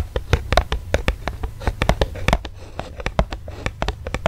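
Fingernails scratch and tap an eos lip balm blister pack, a plastic blister on a cardboard card. It makes a quick run of sharp, dry plastic clicks over a soft low thump, with brief bright tops. A faint scratchy rustle fills the gaps, and each tap dies away almost at once.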